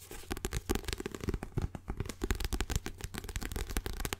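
Fingertips with short nails scratch, tap and flip the cover and pages of a small, closed yellow paperback book held in both hands close to the mic. The result is a dense run of soft, dry papery taps, rustles and flicks with a low thumpy body and brief bright edges. The sounds come in quick succession with almost no ring.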